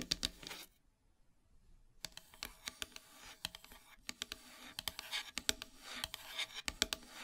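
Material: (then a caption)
Wood. Long silver nails scratch and tap across the flat surface of a solid black-painted wooden heart plaque, making quick, bright ticks and dry scraping. The crisp taps come in irregular bursts, with a near-silent pause around the first second, and each one dies away almost instantly.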